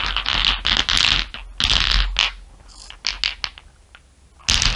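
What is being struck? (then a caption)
Small glass marbles on fur. Many small solid glass marbles resting on fur are tapped with fingernails and stirred with fingers. The result is bright clicking and rattling, with dense bursts of clattering separated by quieter stretches of sparse, sharp ticks over a low background rumble.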